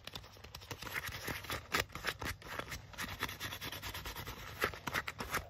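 Fingertips and nails scratch and rub the sleeve and front panel of a black leather jacket being worn. The result is a dense run of short, dry, bright scratchy strokes with soft rubbing in between, each dying away almost at once.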